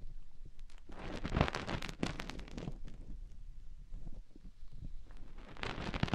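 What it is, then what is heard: Silicone microphone ear being scratched. A silicone ear on a white binaural microphone housing is rubbed and covered by a hand, then scratched and dug at with long painted nails. The result is a close, muffled rumble with dense low thumps and rustling, scratchy friction, and bright crackling swells near the start and end.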